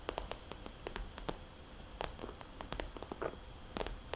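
Fingernails on both hands tap and trace circles on a small red polka-dot glossy plastic cosmetics bag lying flat as a hollow pouch. About twenty quick, crisp plastic clicks with a bright edge and a low body near 418 Hz stand out over soft rustling and a faint hiss. Each tap dies away almost instantly.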